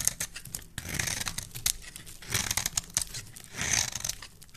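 A solid bar of soap with a green rim and cream interior is held in the hand and carved with a metal blade. Crisp, bright scraping and crackling come in three swelling passes, each with short sharp ticks and a faint low rumble underneath.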